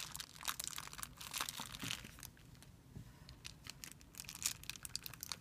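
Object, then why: Thin clear plastic film bag. Fingertips rub and crumple a thin, clear plastic film bag resting on a white surface. Bright, crackly crinkling comes in dense bursts, eases into a softer, quieter stretch in the middle, then picks up again with sharp high snaps.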